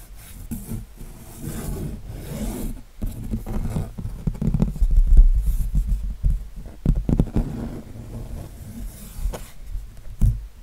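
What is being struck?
Canvas with textured acrylic paint.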